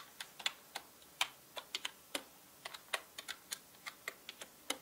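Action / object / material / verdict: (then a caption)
tap / mechanical keyboard with plastic keycaps / plastic / none. Fingertips type on a full-size black mechanical keyboard with plastic keycaps, producing 19 sharp, bright plastic clicks at an uneven pace. Each tap is brief and dry, dying away almost at once, with nothing in the low end.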